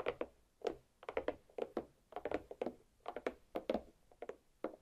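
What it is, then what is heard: Watermelon half tapped with fingernails. Long black pointed nails tap repeatedly on the rind of a large, solid watermelon half resting rind-up on a plate. The 21 quick, irregular taps are short, dull, hollow thunks centered near 530 Hz with bright clicky tops, each dying away almost instantly.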